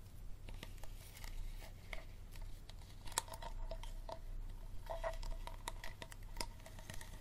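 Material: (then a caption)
Plastic. An empty, hollow, clear plastic water bottle is tapped and scratched by fingertips and nails on its bottom and labeled sides. Quick, irregular clicks and crinkly scratches carry a hollow plastic ring around 930 Hz, over a steady low hum.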